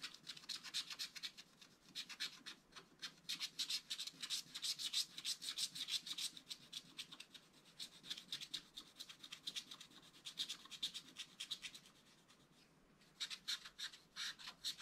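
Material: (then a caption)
Coated paper. A wooden stylus scratches detail into the rabbit's body on a flat, black-coated scratch art card. The short, dry scratching strokes come quickly and irregularly, with a bright, hissy rasp and almost no low end. The scratching eases to a faint rustle around the twelfth second, then resumes in quick strokes.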